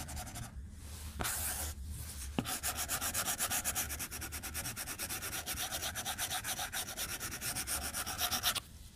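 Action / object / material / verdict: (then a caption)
scrape / glass tablet screen and plastic stylus / glass / none. A white plastic stylus tip scribbles fast across a glass tablet screen resting on a desk, making a dry rubbing and scratching sound. A brief hiss and a few sharp taps at the start give way to a long run of rapid, evenly spaced back-and-forth strokes, each a bright, airy scrape that stops abruptly at the end.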